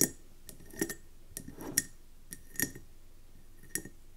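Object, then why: Wax-filled glass candle jar. Long nails tap on a round, speckled gold mercury glass candle jar filled with wax, resting on a table. Short, bright glassy clicks come in irregular bursts with a faint high ring, and some taps land as quick doubled clicks.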